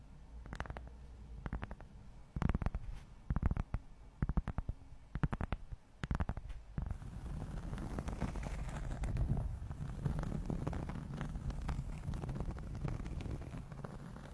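A large, round, flat, solid cork board or coaster is held in front of the microphone and scratched and tapped on its surface with long almond-shaped acrylic nails. For the first seven seconds, sharp, dry, low taps come in uneven clusters. A steady, dense scratching texture with a brighter hiss follows to the end.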